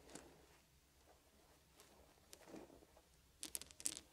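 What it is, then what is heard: Wooden beads clicking. Fingers pick up small solid wooden beads and arrange them into piles in a quiet space. Seven light, dry clicks with a bright, crisp edge: sparse at first, then a quick cluster near the end.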